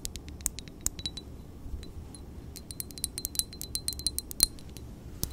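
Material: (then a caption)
Glass. Long painted nails tap a small square glass perfume bottle with a silver cap, partly filled with amber liquid and held in the hand. A rapid, uneven run of sharp, bright clicks and clinks sounds, each dying almost instantly, some with a faint high glassy ping. The taps sit over a quiet low rumble.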